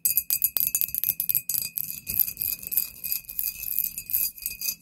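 A tall, clear, embossed glass "Poison" bottle, hollow and apparently empty, is tapped and lightly scratched with long painted nails. The result is a rapid run of very short, bright clinks with a steady high glassy ring and faint scratchy texture, with little low-end weight.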